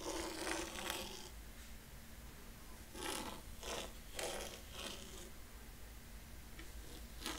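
A thin wooden rake stick is dragged by hand through fine white sand in a shallow rectangular wooden tray, scratching parallel lines. Soft, bright, gritty scraping strokes come in short irregular bursts over a quiet, steady low hum.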